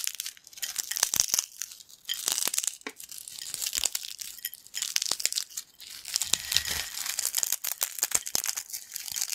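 A pile of broken, crunchy yellow corn snack chips on a black plate is crushed and crumbled between fingertips. Dense, bright crackling and crinkling crunches pour out in quick bursts, almost all in the high range with no low end. Each crack dies away almost instantly.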